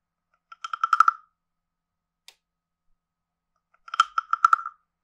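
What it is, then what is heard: Wooden frog guiro. A wooden stick scrapes along the base and ridged back of a hand-sized, carved, hollow wooden frog guiro. Two quick runs of dry, rattling clicks with a hollow tone near 1.3 kHz are heard, separated by a single faint tick. Each click dies almost instantly.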